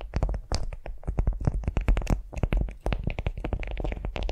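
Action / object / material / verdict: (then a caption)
scrape / beeswax-coated cotton food wrap / waxed cotton / none. Long nails scratch and tap a flat beeswax-coated cotton food wrap lying on a vinyl mat. The result is a rapid, steady run of short, crisp taps and waxy crinkling scratches with no ringing between them. The sound carries a heavy low-end thump underneath.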